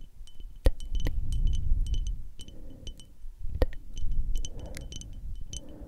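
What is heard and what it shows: Long acrylic nail tips tap a small frosted glass perfume bottle that is mostly covered by the hands. The taps come as quick, irregular, bright clicks with a short glassy ring near 3 kHz. A soft, low, rumbling background runs underneath.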